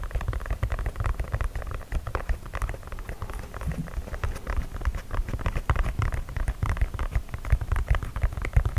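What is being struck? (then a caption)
Leather sneaker toe cap. Fingernails tap and scratch the perforated leather toe cap of an empty white leather sneaker held close to the microphone. A dense, rapid run of soft, dull taps and rustling scratches continues steadily, with a heavy low thump and little brightness. Each tap dies away almost instantly.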